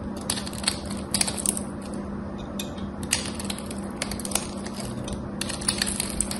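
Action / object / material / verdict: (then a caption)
scrape / bar of soap with a coated surface / soap / none. A metal craft knife blade scrapes and carves a solid gold-coated bar soap with an embossed gold surface, shaving off dry, crumbly pieces. Crisp, bright scratching and crackling comes with sharp, short clicks as the blade bites in, over a steady low hum.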